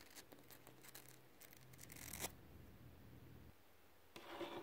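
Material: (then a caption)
Concrete. Fingertips and short nails make fast tapping and scratching motions on a rough, solid, textured concrete ground. Quiet, dry scratches and taps come in uneven bursts over a low steady hum, peaking in a brighter scrape near the middle. A denser flurry of scratching closes the clip.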